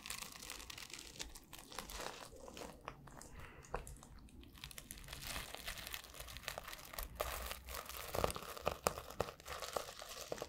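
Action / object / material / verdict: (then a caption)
scrape / plastic flip-sequin notebook cover / plastic / none. Fingers scratch and brush the blue and silver plastic flip sequins and the spine edge of a sequin-covered notebook cover close to the mic. The result is a dense, dry crinkling rustle with quick, bright clicks and ticks, busier and louder toward the end.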